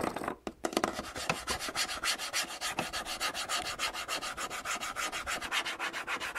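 Fingertips and nails tap and scratch the front panel of a red and grey Samsung canister vacuum cleaner with a hollow hard plastic body, sitting on a wooden shelf, close to the microphone. A fast, steady run of dry, bright scratching strokes with little low end follows a few sharper opening taps.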